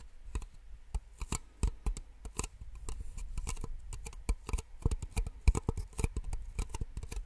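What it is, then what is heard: Plastic cups tapped with nails. Long nails tap rapidly and irregularly on two identical small, empty white plastic drinking cups, held upside down, one in each hand, near the microphone. Each tap is a sharp, bright, hollow click that dies away almost instantly, with a soft low thump underneath and faint rustling between taps.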